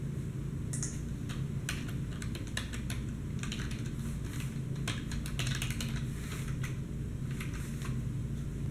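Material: Plastic.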